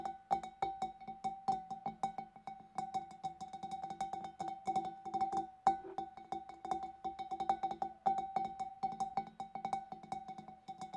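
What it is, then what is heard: Glass fish bowl. Long dark nails tap rapidly on the neck and rim of a large, empty, clear glass fish bowl from above, producing a steady stream of light, quick clicks. Each tap sounds a clear glassy ring pitched near 780 Hz with bright overtones, fading within a fraction of a second. The tapping runs in uneven bursts with a sharper, louder strike near the middle.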